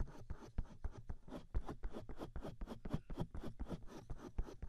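Both hands cup the hollow silicone ears of a 3Dio binaural microphone while fingertips rub and massage the silicone. A quick, uneven run of soft, muffled rubbing strokes comes about four per second, dominated by deep low thumps with little high-end content.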